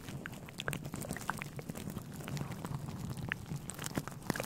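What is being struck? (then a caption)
Synthetic fur microphone windscreen. Fingertips of both hands rub and scratch a grey, fluffy synthetic fur windscreen on a microphone. A steady, close, crackly rustle fills the clip, with dense bright scratches and small clicks over a low, muffled rumble.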